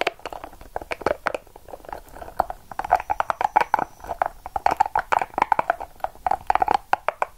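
A small, hollow, yellow-and-purple soft rubber spiky ball is held in the palm and squeezed and scratched with long acrylic nails. The result is a rapid, irregular series of short, dry clicks and scrapes, with squeaky rubbery tones around 850 Hz, dying away almost instantly with no ring.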